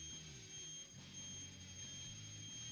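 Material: Nothing is struck.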